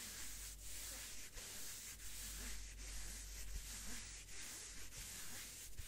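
A pair of thin white cotton gloves is worn on both hands, and the gloved palms and fingers rub against each other, fabric on fabric. The result is a quiet, steady brushing hiss with soft, bright swishes recurring in a loose rhythm of about two strokes per second, over a faint low rumble.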